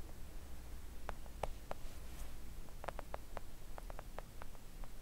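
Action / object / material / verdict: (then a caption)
tap / silicone nail art mat tapped by acrylic nails / silicone / none. Long acrylic nails tap a flat, thin, solid pink silicone nail art mat. Soft, short ticking taps come in irregular clusters over a steady low hum, each dying away almost instantly with no ring.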